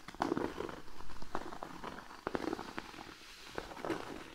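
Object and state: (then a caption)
Cork board. Fingernails from both hands quickly scratch and tap a large, flat, thin cork sheet lying on a blanket. The result is a soft, rapid patter of dry clicks and crackly scraping, with short, dull taps that die away almost at once.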